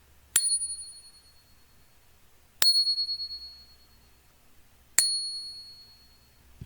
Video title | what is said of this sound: FAKE UNVEILED - content creator giftings & fake examination | Here is a silver don't tread on me round.